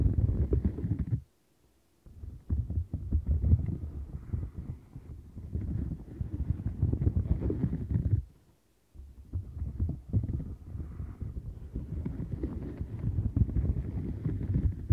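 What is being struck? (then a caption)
Silicone bristle mat. A turquoise silicone bristle mat is scratched and rubbed quickly with long nails, making a dense, low, rumbling scratching texture with many rapid strokes. The sound stops briefly twice before resuming.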